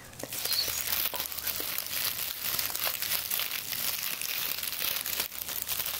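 A large hand-held bundle of dried eucalyptus, light, brittle round-leaf stems, is grasped, rustled and crinkled by fingers close up. A steady stream of dry, crisp crackling and rustling fills the clip, bright and high with almost no low end, with brief dips between handfuls.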